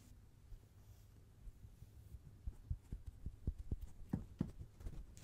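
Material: Foam.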